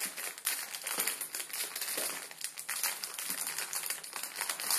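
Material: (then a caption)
Plastic film. Fingertips crinkle and press a full plastic-film ramen noodle packet resting on a wooden table. The result is a continuous, bright, crackly crinkling with many quick overlapping snaps and almost no low end.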